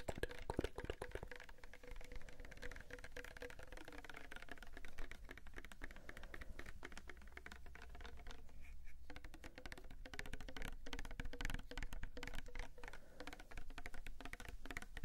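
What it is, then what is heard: Plastic soap bottle, filled. A palm-sized, pink-red Sagrotan plastic liquid soap bottle, hollow and apparently filled, is held close to the microphones and tapped with fingertips and nails. Rapid, dry, closely spaced clicks and taps run through the whole clip, with a faint hollow tone around 300 Hz and a steady low rumble underneath.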